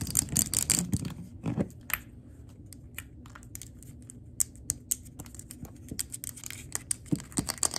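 Long acrylic nails tap and scratch the glass base and sides of a large 3-wick glass candle jar, full of wax and with a printed label, held near the floor. A dense flurry of quick, bright clicking taps opens the clip, then thins into soft, low scratching with scattered sharp ticks. Crisp, dry taps return toward the end.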